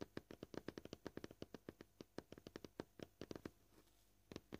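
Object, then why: Plastic cutting board. Short purple-painted nails tap quickly on a solid, flat, white, scratched plastic cutting board. About 29 crisp, dry clicks with almost no ring center around 320 Hz with a bright edge, then pause briefly before a last few taps.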